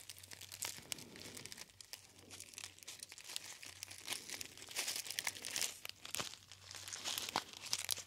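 A gold foil tea bag, a gold metallized foil pouch, is folded and crinkled by fingertips. Dense, bright crackles and crinkles come in quick, irregular bursts that swell and fade throughout, over a faint low hum.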